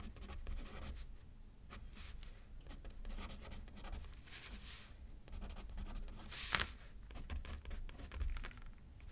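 A pen tip scratches across a thin paper card resting on a pad as someone writes. Soft, continuous scratchy strokes come in short bursts, with occasional brighter swishes and a steady low rumble underneath.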